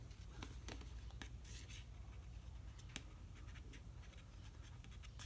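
Fingernails tap and scratch the front label of a large plastic yogurt tub with its lid on, standing upright. Soft, irregular scratching mixes with light, quick ticks over a steady low hum, and one slightly sharper tap stands out midway.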